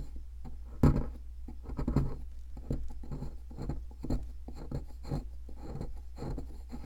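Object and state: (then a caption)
Plaster block scraped with a metal pick. A thin metal pick scratches and scrapes the surface of a large white solid plaster (gypsum) block shaped like an ammonite, held in a hand with long red nails, as loose powder falls off. The sound is a series of irregular, dry, gritty scrapes in short bursts, with a sharper, louder scrape near the start.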